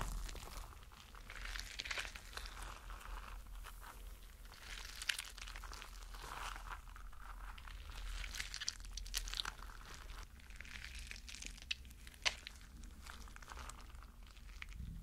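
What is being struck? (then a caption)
Rubber mesh stress ball filled with gel water beads. A spiky rubber mesh stress ball filled with gel water beads is pinched and squeezed between fingers so the beads bulge through the mesh. This produces a steady stream of soft, bright crinkling and squishy crackles over a low background rumble, with a few sharper snaps standing out along the way.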